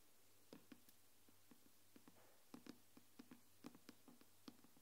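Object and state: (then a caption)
Aluminium tablet back. Long nails tap and scratch the silver aluminium back of an iPad, giving a quiet, irregular series of short, sharp clicks, each with a brief tonal ring around 290 Hz. A steady low hum sits underneath the taps.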